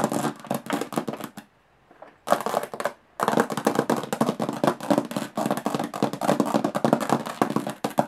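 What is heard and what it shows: Long nails tap very fast on the textured lid of a closed, hollow aluminum carry case. Dense bursts of crisp, bright clicks with a hollow metallic tone run almost continuously, broken by two short pauses.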